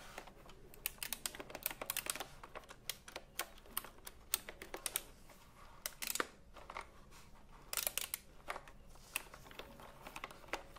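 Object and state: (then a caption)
Keyboard with round plastic keycaps. A retro typewriter-style computer keyboard with round plastic keycaps, held upright, is tapped and pressed by fingertips. The result is an irregular run of short, sharp clicks with a bright, high edge over a low, quiet background, arriving in quick bursts separated by brief pauses.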